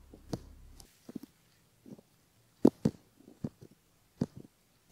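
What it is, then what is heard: Silicone ear model being scraped. A bamboo ear pick scratches the outer ear and the skin around the ear of a silicone left ear model on a base. Short, soft, crackly scrapes come in scattered bursts, mostly low-mid in tone with a few brighter flicks, separated by near silence.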